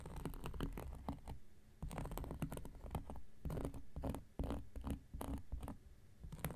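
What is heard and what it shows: An X-Acto knife blade is scratched across a round, flat, solid cork coaster. It makes a quick series of dry, rasping scratch strokes that vary in length and pressure. The strokes have a heavy low body and brief bright streaks, and stop dead with no ring after each one.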